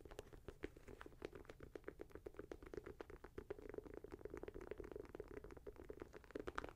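A Nike Air Max 90 leather and mesh sneaker is held in the hand while fingernails scratch and tap the suede/leather upper near the laces. Quiet, rapid, dry taps and scratches patter continuously with a soft midrange body. Each tap is short and decays almost instantly.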